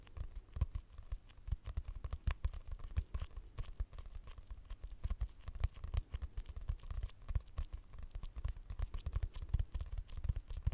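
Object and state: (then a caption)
Cardboard-covered notebook. A medium purple notebook with a cardboard cover and a solid paper block, held upright in front of the mic, is tapped and scratched with long acrylic nails. Many quick, dry, short taps come in an irregular stream, mixed with soft scratching. The sound is dull and low-heavy, with little ring.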